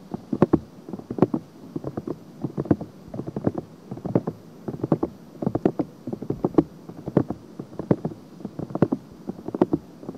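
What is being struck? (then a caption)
Silicone binaural microphone ear. Long painted nails scratch across the silicone ear of a binaural microphone, giving a steady run of short, dry, close-up scratching bursts. The strokes are soft and muffled, centered in the low mids with little high content, and come in quick repeated clusters throughout.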